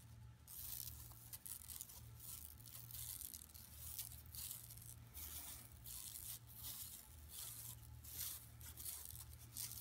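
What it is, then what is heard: Woven plastic mesh shopping bag. Long nails scratch across a flat, empty yellow woven plastic mesh tote bag lying on carpet. The result is a steady run of bright, raspy scratching strokes that rise and fall in quick succession, with a low steady hum underneath.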